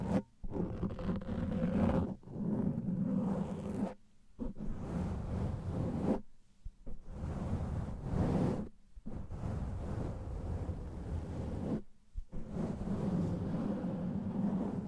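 A black foam microphone windscreen is gripped, rubbed and scratched with the fingers of both hands, giving dense, muffled, low scratching and rumbling friction. The noise comes in several long bursts separated by brief silent pauses.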